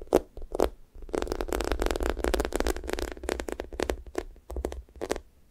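Fingertips and nails tap and poke the pink sticky top of a thick strawberry toast squishy toy made of soft, solid foam. Quick, sticky, crackling taps and peeling sounds come in a dense run over a low rumble, with short pauses in between.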